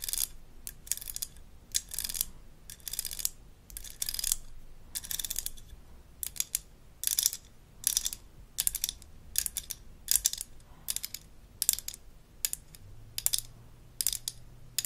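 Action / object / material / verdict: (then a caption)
scrape / plastic toy dental mirror handle / plastic / none. A small light-blue plastic toy dental mirror with a textured handle is held in the hand while long acrylic nails scratch along its handle. The result is a run of short, dry, bright scratching bursts with quick gaps between them and almost no ring. A faint low hum sits underneath.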